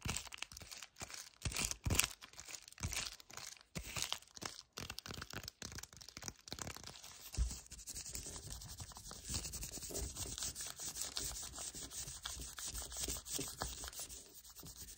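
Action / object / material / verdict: scrape / cardboard chocolate bar sleeve / cardboard / none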